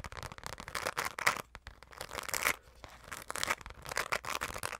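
Long nails scratch fast across a hollow, dark glitter-coated fabric zipper pouch. Rapid bursts of rough, bright, crinkly scraping with almost no low end stop and start in short, uneven pauses.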